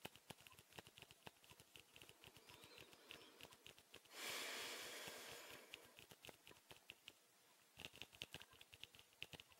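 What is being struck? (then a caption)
Clear plastic tube-shaped case. Rapid fingernail taps on a small, hollow, clear plastic tube-shaped case with a blue cap, held in both hands, make a stream of sharp, bright, dry clicks with almost no ring. Partway through, a louder broadband rustling hiss swells up and slowly fades. After a short quiet pause, the quick tapping resumes.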